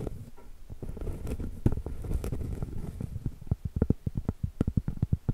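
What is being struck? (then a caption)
Round cork trivet. Long pointed acrylic nail tips tap on a large, thin, flat, round solid cork trivet held flat. A dense, muffled patter of soft, low, dull taps gives way to separate, quicker knocks with almost no ring.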